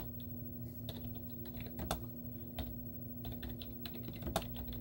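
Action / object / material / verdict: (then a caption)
tap / plastic laptop keyboard keys / plastic / none. Long teal-painted nails and fingertips type rapid taps on a white plastic laptop keyboard with hollow keys and cartoon stickers on them. Quick, short clicks and clacks patter unevenly, with a few sharper taps standing out, over a steady low hum.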